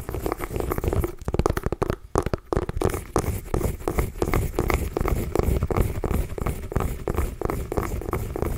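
A small hollow orange mini pumpkin is held in both hands and scratched and tapped with long nails. The result is a continuous stream of dense, low, rustling scratches and quick hollow taps that never pause for long.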